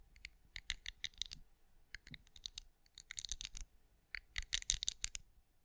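Long acrylic nails tap and scratch over a hand-sized, cream, pinecone-shaped wax candle that appears solid, with a raised scale texture, recorded close up. Quick, bright, dry clicks and scratchy ticks come in irregular clusters with short pauses between them, and each one stops almost instantly with no ring.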